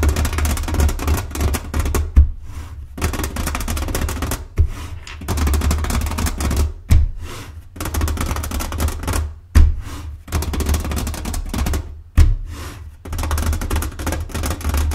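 Long painted fingernails of both hands tap and scratch a medium-size blue printed cardboard Mancala game box lying flat on a table. A dense, low, hollow patter of quick taps and scratching runs in bursts, broken by short pauses. Sharper, louder taps mark the pauses.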